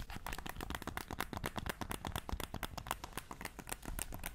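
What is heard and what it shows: A black, hand-sized hollow plastic game controller is held in both hands and rapidly tapped and scratched with painted fingernails across its front shell and buttons. The result is a quick, irregular stream of short, dry clicks and scrapes, with no ringing.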